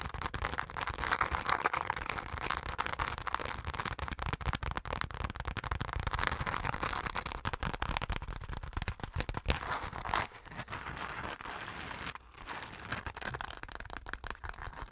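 A hand-sized, hollow dark purple glitter-coated fabric pouch with a metal zipper is scratched and tapped with long nails. The result is a dense, fast, irregular stream of crackly scratches and clicks. It continues steadily throughout, with brief drops in level near the end.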